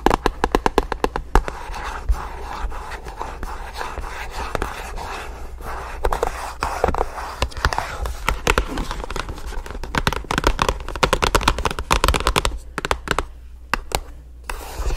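Long nails tap quickly across the face and edges of a small, hollow, rectangular black and orange paperboard product box. The result is a dense run of dry, papery clicks with a short hollow knock and almost no ring, over a steady low hum.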